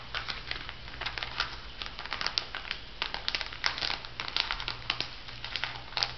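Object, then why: Plastic foil sheet-mask sachet. A small, flat, printed plastic-foil sheet mask packet with a pig design, hollow and filled with a soft mask, is held and crinkled by fingertips with long manicured nails. Dense, bright crinkles and light scratches come in quick irregular bursts, over a faint steady low hum.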